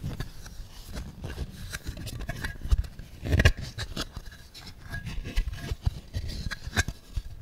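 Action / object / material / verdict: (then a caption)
scrape / thin clear plastic packaging tray / plastic / none. Fingertips rub and tap an empty, thin, clear plastic packaging insert tray, making a steady run of soft, dry crinkling scrapes and light clicking taps. The sound is mostly low thumps, with brief bright crackles on top and no ringing after each touch.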